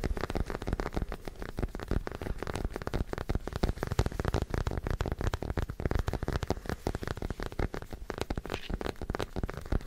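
A small white plastic acupuncture doll is held close to the microphone and tapped and scratched with fingertips and short nails. The result is a steady, rapid stream of dull, close taps and crackly scratching that runs the full ten seconds. The sound is weighted toward the low end, and each tap dies away almost instantly.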